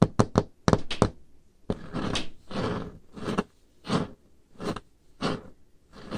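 Painted fingernails tap on a large, solid, dark-stained wooden table top, starting with a quick run of short, dull, knocking taps. These give way to longer, softer swishing strokes across the surface, each swelling and fading with brief pauses between them.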